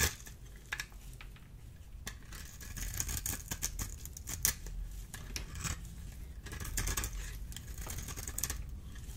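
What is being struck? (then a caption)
Bar of soap cut with a small metal blade. A solid oval bar of dry green soap, held in the hand, is scraped and cut with a small metal blade, and the shavings fall onto a pile. Quick, bright scraping and crisp cutting strokes come in irregular bursts over a low, soft rumble. The strokes are too closely packed to count.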